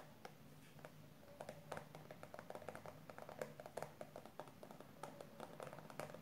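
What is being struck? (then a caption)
Plastic squeeze tube and cap. Long purple nails tap the pink plastic cap and body of a 150 g plastic squeeze tube of hair conditioner. Quick, quiet, dry clicks come in an irregular stream, each dying away almost at once, over a soft low hum.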